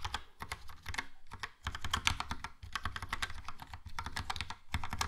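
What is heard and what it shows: A compact, hollow Logitech POP Keys mechanical keyboard, with a yellow plastic case and round black and grey plastic keycaps, is typed on with fingertips. Quick, steady runs of bright plastic taps ring over a hollow low thump, each click dying away almost at once, with brief pauses between bursts.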